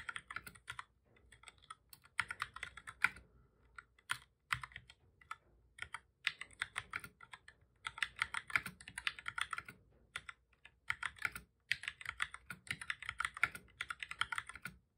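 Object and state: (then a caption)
Plastic computer keyboard being typed on. Both hands type steadily with their fingertips on a full-size black plastic computer keyboard with a hollow body, resting on a desk. Rapid runs of short, sharp, bright key clicks come in bursts separated by brief pauses, each tap cutting off almost instantly with very little low end.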